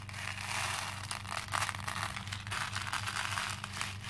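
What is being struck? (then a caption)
Plastic beads in a plastic bowl. Both hands rub across and scoop through a pink plastic bowl full of small cream plastic faux pearl beads, and the beads clink together. The result is a dense, continuous bright rattle and crinkle with a steady low hum underneath.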